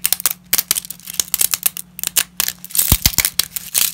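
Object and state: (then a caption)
Dry lasagna pasta snapping. Dry lasagna pasta fragments are snapped into smaller bits between black-gloved fingers over a pile. A rapid, irregular series of sharp, dry, bright cracks and crinkling snaps is heard, each one very short, over a faint steady low hum.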